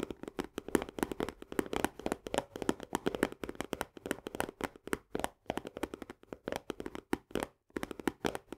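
Both hands tap rapidly with long nails on the top edge and green plastic lid of an Orzo Bimbo barley canister, a medium paperboard tube. The result is a fast, continuous stream of short, dry clicks with a hollow midrange tone around 340 Hz and bright nail ticks, each dying out almost instantly.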